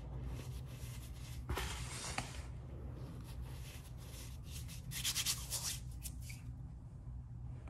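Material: Powder.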